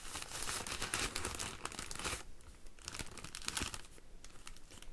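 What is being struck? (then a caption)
Woven wicker basket with plastic liner. Fingernails scratch the clear plastic liner inside an empty woven wicker hanging basket and run along the outside of its woven wicker twigs. Dense, bright crinkling and scratching fills the first two seconds, then gives way to quieter, sparser scratches and ticks.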